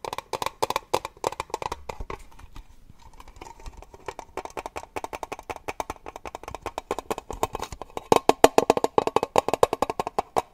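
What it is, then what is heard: Metal tin tapped with nails. A small, hollow, triangular metal cake-slice tin is held close to the mic and tapped rapidly with fingernails and fingertips. About sixty short, dry, clicky taps have a hollow metallic tone around 660 Hz and die away almost instantly. The tapping softens briefly near the three-second mark and grows louder toward the end.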